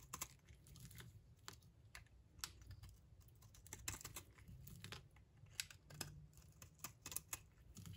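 A utility knife blade scrapes thin, flaky shavings off a solid, dry pink bar of soap held in the palm. The result is a quick series of crisp, bright scratches and ticks that sound much like keyboard taps, heard over a low, soft rumble.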